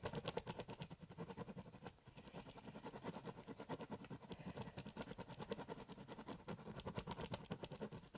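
A ballpoint pen tip scratches and scribbles densely across the surface of a large, empty, hollow corrugated cardboard shipping box. The result is a rapid, continuous run of short scratchy strokes with a hollow, boxy low body and bright, papery hiss on top.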